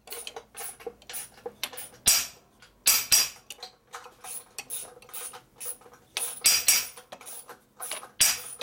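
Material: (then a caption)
Steel. A small solid steel block, held by hand on the steel bed of a hydraulic press, is tapped repeatedly with a small metal hammer. It gives about sixteen sharp, bright metal-on-metal knocks at an uneven pace, some much louder than others, each dying away quickly with a short high ring.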